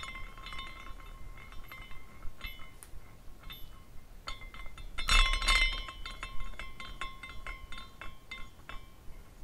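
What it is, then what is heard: Glass carousel figurine tinkling. A small clear glass carousel figurine spins on its own after being set going by hand, its suspended glass pieces tinkling and clinking like wind chimes. Light, bright clinks with a steady ring near 2 kHz repeat irregularly over a low background hum, with a louder flurry of clinks about halfway through.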